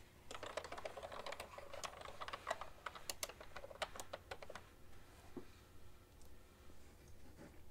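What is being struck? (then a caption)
Plastic computer keyboard. Two hands with long nails type continuously on a beige and white plastic ergonomic keyboard with a hollow plastic body, tapping the keycaps with their fingertips. A rapid run of short, bright clacks lasts for about four and a half seconds. The typing then stops, leaving a low, quiet background with only a few faint soft sounds.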